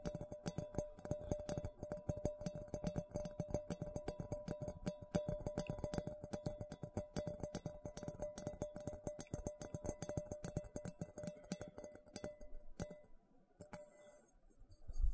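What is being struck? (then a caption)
Stainless steel mixing bowl. A medium, hollow, empty stainless steel mixing bowl, held upside down near the mic, is tapped and scratched on its base and sides with fingertips and nails. Rapid, dense soft taps and scratches run over a faint steady metallic ring. The sound thins out and goes quiet near the end.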